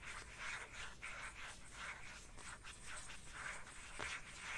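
Fingernails scratch and tap the surface and edge of an empty black plastic phone case held at an angle. The result is a quiet, soft, raspy scratching that sweeps back and forth in loose, uneven strokes, with a hissy texture centered around 2 kHz and light taps mixed in.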